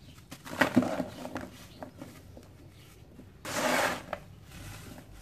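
Bare hands and fingertips squeeze, rub and crumble loose grey dry cement powder in a round metal bowl. Soft, gritty crunching and rustling comes in bursts, loudest near the start and in a longer, brighter stretch of grinding later, with quiet gaps between.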